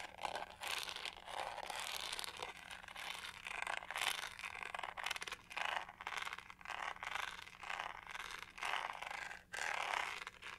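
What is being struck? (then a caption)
Plastic hair brush, studded back. Long nails scratch across the pink studded back of a hollow plastic hair brush with black bristles. The result is a steady run of bright, raspy scraping that swells and fades in bursts over a faint low hum.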